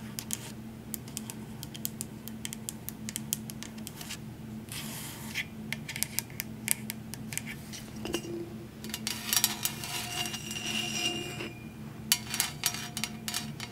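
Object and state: Stainless steel tumbler.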